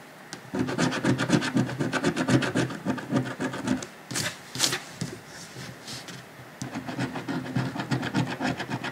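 A coin scratches the latex coating on a thin, flat $30 paper lottery scratch-off ticket lying on a dark cloth while fingers hold the ticket steady. Quick, rhythmic rasping strokes run for about three and a half seconds, then give way to a few louder brushing sweeps and a quieter pause. The scratching resumes near the end in a steady back-and-forth rhythm.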